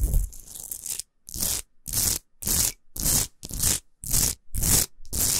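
Long pointed acrylic nails scratch fast across the rough, irregular surface of a pinkish-white Himalayan rock salt lamp, a large solid salt lump resting on a fur rug with its light off. A dense, continuous scrape opens the clip, followed by a rhythmic series of separate bright, hissing scratch strokes with short silent gaps between them and a low rumble beneath each stroke.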